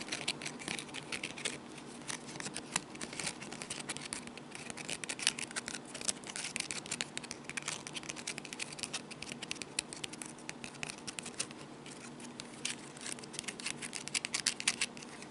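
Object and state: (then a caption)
Woven wicker basket. A small, hollow, empty basket of woven light wood or wicker strips with a handle is scratched and tapped with long fingernails. It makes a quiet, continuous stream of dry, crisp scratches and rapid light ticks, bright and high-pitched with almost no low end.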